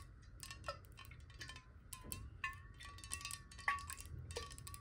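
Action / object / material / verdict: tap / glass water bottle partly filled with water / glass / none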